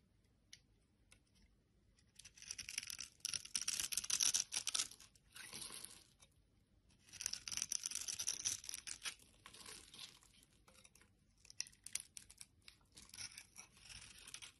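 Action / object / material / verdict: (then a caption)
scrape / bar of soap / soap / none. A solid teal bar of soap, held in the hand alongside a piece of orange soap, is scraped with a metal blade into fine crumbs. Long, dry, bright scraping strokes crackle and rasp with a crisp, crumbly texture, broken by short pauses and followed by quicker, lighter scrapes. The sound is almost entirely high-pitched, with very little low end.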